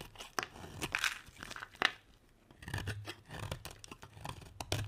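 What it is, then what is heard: Dry bar soap being scraped with a blade. A utility knife blade scrapes shavings off a solid green dry soap bar that is partly carved. The sound is a run of crisp, crunchy scrapes and short tearing strokes, bright and dry with quick bursts and brief quiet gaps, over a faint low thud from the handling.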